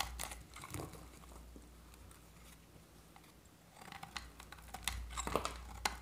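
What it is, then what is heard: Dry soap bar scraped with a blade. A utility-knife blade scrapes thin flakes off a solid, dry oval bar of orange soap, held in the hand and bearing remnants of a blue varnish coating. Short, dry crunching scrapes with bright, crackly edges come in an irregular cluster at the start, fall to a quiet low hum in the middle, then return denser and sharper near the end.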